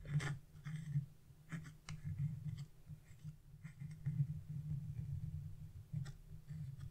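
A thin chisel held by fingers with blue nails scratches the black coating of wax-coated scratch-art paper near a figure's leg. Short, bright, dry scratching strokes sit over a steady low hum around 140 Hz.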